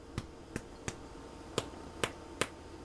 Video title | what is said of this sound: Basic bread using basic tools | if you're unsure whether or not it's done hollow sound you'll also hear it on fresh-baked out of the oven bread